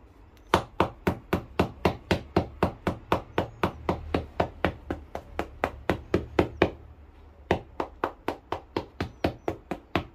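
A small metal hammer knocks 36 times on the treaded rubber sole of a solid black leather shoe, held upside down and sole-side up on an iron cobbler's last. The short, dull knocks come in a quick, fairly steady run of about four per second. Each dies away almost at once, with a brief pause before the last few.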